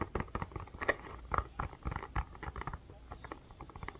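Long fingernails tap and scratch the rounded surface of a blue plastic bubble ice pack held in both hands. The result is a quick, uneven patter of short, dull plastic clicks and soft scrapes with a muffled low thud beneath, each tap dying away almost at once.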